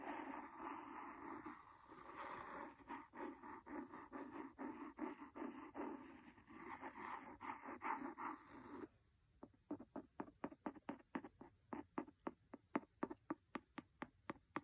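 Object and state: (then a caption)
Cloth-bound hardcover book. A wooden pencil scratches across the cover of a large, solid, red cloth-covered hardcover book for about nine seconds, making a dry, rhythmic rasp of repeated strokes. It then switches to quick, crisp taps on the cover that die away almost instantly, with quiet gaps between them.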